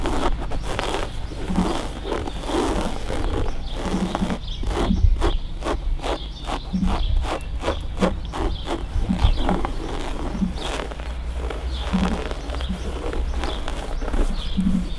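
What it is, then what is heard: Fabric-covered car headrest. Fingertips and nails scratch and rub across the grey-brown fabric of a car seat headrest that has been removed from the car; the headrest has a soft foam core and metal posts. Repeated short, dry scratching strokes sit over a steady low rumble.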